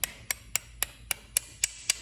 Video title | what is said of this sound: 2004 Mustang GT 4.6 Aftermarket Dorman intake replacement & refreshing the fuel injectors! | Hear that smacking noise? It's flush.